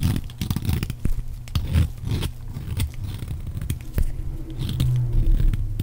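A metal blade shaves and scrapes thin curls off the surface of a solid rectangular bar of dry orange soap held in one hand, with shavings piled behind it. Repeated short, dry scraping and crunching strokes follow one another quickly. The sound is dense and low-heavy, with little high-end brightness.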